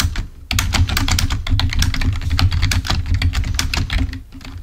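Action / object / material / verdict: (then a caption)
tap / plastic membrane computer keyboard / plastic / none. A full-size black plastic Microsoft membrane keyboard, wired and lying on a white table, is typed on rapidly with the fingertips of both hands. The result is a dense run of quick, bright key clicks over a strong, steady low hum, with a brief lull just before the half-second mark and a softer stretch near the end.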